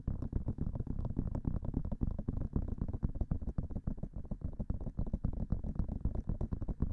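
Long manicured fingernails of both hands tap quickly on both hollow white silicone ear-shaped pieces of a 3Dio-style binaural microphone. The result is a rapid, uneven stream of soft, dull thumps, mostly deep and bassy with very short decay and almost no bright content, continuing steadily for the whole clip.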